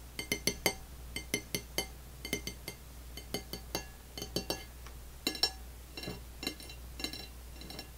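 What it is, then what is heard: Ceramic plate tapped with fingernails. Long fingernails, first of one hand and then both hands, tap on an empty dark blue glazed ceramic dinner plate lying flat. The result is a series of bright, glassy clinks, each with a brief high ringing tone that fades quickly, over a steady low hum.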